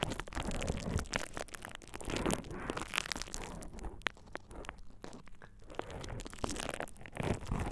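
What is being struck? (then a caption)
Plastic bubble wrap sheet. A thin purple plastic bubble wrap sheet, laid over the ears of a dummy-head microphone, is squeezed and crinkled by fingertips. The result is a continuous, close run of soft crinkles and sharp little crackles over a low rumbling texture, with brief bright pops scattered throughout.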